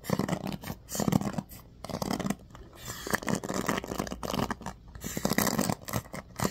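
Fingers and nails scratch and flick the pin bristles of a bamboo paddle hairbrush with a black cushion. The result is bursts of dry, crackly scratching and rustling with soft flicking ticks, separated by brief quieter gaps.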